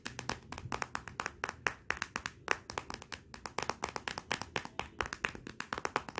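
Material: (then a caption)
Glass. Long nails and fingertips tap quickly on the glossy glass back of a Motorola smartphone lying face down, including near the camera. The result is a steady run of sharp, dry clicks with almost no ring, centred around 1.9 kHz with bright edges and little low end.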